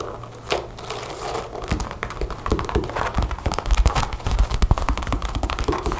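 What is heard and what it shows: Long blue nails rapidly tap and scratch the chest area of a dark brown leather jacket lying flat, its zipper and snap pockets visible. The result is a dense run of quick, dry taps and crinkling scratches with a soft, low thump under them, each hit dying away almost at once.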